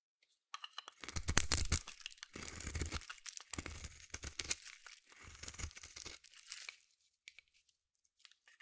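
A metal blade scrapes and shaves a solid white bar of soap, and the shavings fall away. Gritty, tearing scrapes come in several bursts, with a low rumble underneath and a bright crackle on top. The scraping then fades to a few faint ticks.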